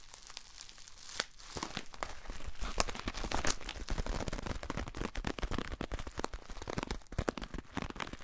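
A small white paper bag, empty or lightly filled, is held in both hands and crinkled and handled with the fingertips. A dense, steady stream of crisp paper crinkles and crackles runs through the clip, with a few sharper snaps standing out.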